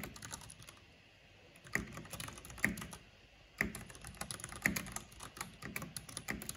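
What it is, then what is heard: Plastic mechanical keyboard. Fingertips and long nails type on a black plastic mechanical keyboard with purple backlight, producing clicky key taps. The taps come in irregular bursts, with a few louder, sharper clacks standing out over quieter, bright clicking.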